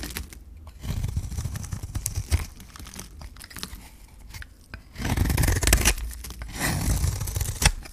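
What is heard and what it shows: A metal blade shaves thin strips off the face of a hand-held, solid green bar of dry soap with a gold rim. The sound is a dry, scraping rasp with crisp tearing and crinkly clicks over a low rumble. It swells in long surges around 1–2.5 seconds and again from 5 to 8 seconds, where it is loudest.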